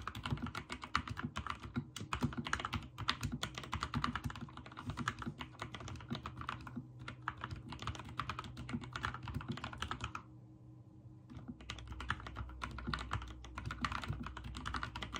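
Fingertips type fast on a backlit mechanical keyboard with white and teal plastic keycaps, making a dense run of sharp, bright clicks over a low, steady hum. The typing stops briefly about two-thirds of the way through, leaving only the hum, then resumes at the same quick pace.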